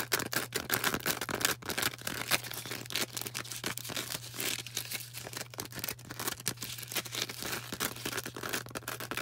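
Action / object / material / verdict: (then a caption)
scrape / green porous foam sponge / foam / none. A hand-sized, star-shaped green porous foam sponge is squeezed, tapped and scratched with long orange acrylic nails. Dense, rapid dry clicks and scratchy crackles fill the bright upper range, with a steady low hum underneath.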